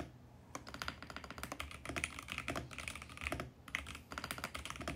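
Fingertips type continuously on a compact VGN X68 mechanical keyboard with a mint plastic case and purple and teal plastic keycaps. The result is a rapid stream of crisp, bright plastic clacks that die away almost instantly, over a soft low thump, with two brief pauses before the typing picks back up.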